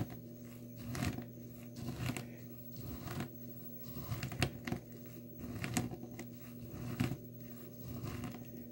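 Dry blue soap chips in a small clear plastic tub are pressed and ground with the glass bottom of a nail polish bottle. Short, dry crunching and crinkling bursts recur about once a second over a steady low hum. The crushed chips give bright, gritty crackles that stop quickly between presses.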